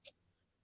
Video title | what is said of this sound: lets turn something interesting....That means I have no idea.. | that sounds like cardboard i mean geez yeah there's nothing there